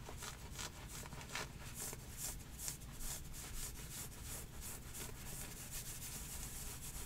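Fingertips and long nails rub and scratch heathered grey knit leggings with a white drawstring, worn on the legs, at the upper thighs. The result is a steady, rapid series of bright, hissy scratching strokes over a soft low rumble, continuing throughout.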